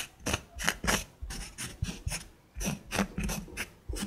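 Long nails scratch and trace across a small, flat, solid wood slice coaster with a bark edge and a burned snowflake design. About a dozen quick, dry rasping strokes are heard, each a bright, gritty scrape with a low thud underneath that stops almost at once.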